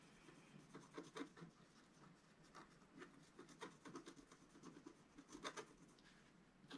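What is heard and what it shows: A wooden stylus scratches a flat black coated scratch art paper sheet resting on a table, filling in coral shapes. Soft, dry rasping strokes come in short, irregular bursts, with brief, brighter scratches standing out above a quiet, faint hiss.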